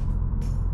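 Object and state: Nothing is struck.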